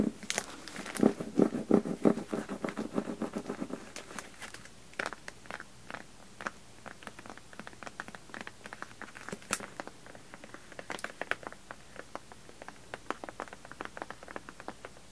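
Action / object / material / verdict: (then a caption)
tap / hardcover book in a clear plastic dust jacket / plastic, cardboard / none. Painted medium-length fingernails on both hands tap and scratch the front cover and edges of a closed, solid hardcover library book, *Dead Man's Blues*, wrapped in a glossy clear plastic dust jacket cover and lying on velvet. The first few seconds bring a denser, rustling scratch with a low-mid body. After that comes a steady patter of dozens of short, crisp, bright clicks with almost no ring.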